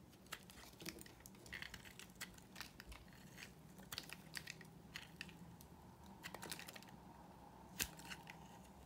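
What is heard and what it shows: A utility knife blade scrapes and carves a solid pink rectangular bar of dry soap, shaving off crumbly curls and flakes. Dense, dry, bright crackles and sharp clicks come in quick irregular bursts over a quiet, steady low hum, with one louder snap near the end.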